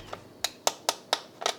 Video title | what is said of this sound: How to Make Crispy Homemade Fries Without Deep Frying - Julia at Home | Look how crisp they are. You can hear it.